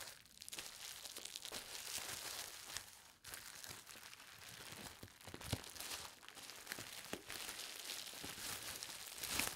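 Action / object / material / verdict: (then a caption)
scrape / plastic bubble wrap sheet / plastic / none. A large flat sheet of clear plastic bubble wrap lies on a fabric-covered table while hands with long painted nails press, rub and smooth it, then lift and fold it. A continuous bright crinkling and rustling carries through the clip, broken by sharper snapping crackles and a brief quieter gap near the three-second mark.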